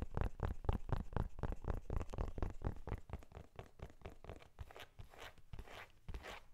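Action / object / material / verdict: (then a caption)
tap / leather-covered journal / leather / none. Fingernails tap and scratch the embossed cover of a closed brown leather journal held upright. Quick, dull, low thuds come in a steady patter, then give way to softer, hissy scratching toward the end.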